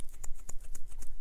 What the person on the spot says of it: whatever that's in there in the head moving around so that's why it's a dead blow